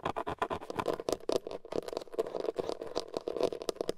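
Fingertips and nails scratch and tap the hard plastic airbag cover in the center of a car steering wheel, a hollow molded shell. Quick, dense scratches and light taps blend into a continuous scraping patter with a hollow midrange tone around 460 Hz and bright, dry clicks that stop almost instantly.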